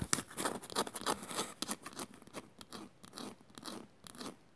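Long matte nails scratch and tap across the woven surface of a small, shallow, hollow, empty woven bamboo bowl. The result is a quick, irregular run of dry, crunchy scrapes and light clicks with a bright, crackly edge and almost no ring, fading somewhat quieter toward the end.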